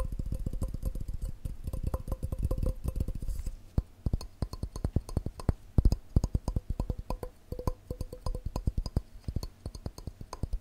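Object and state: Glass cup.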